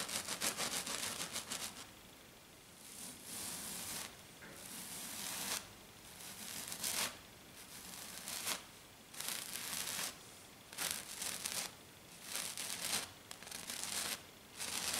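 Long dark nails scratch and tap hard and fast on a flat silver glitter sheet, probably glitter foam. The result is bright, high, gritty scratching in rapid bursts separated by short quiet gaps, with a long continuous flurry at the start.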